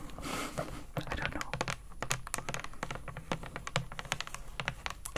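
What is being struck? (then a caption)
Hand-sized plastic bottle. A hand-sized, hollow pink plastic cleaning-product bottle with a clear plastic cap is held in both hands and tapped on its body with long acrylic nails. The result is a rapid, uneven run of short, sharp clicking taps, each dying away almost at once, over a low background rumble.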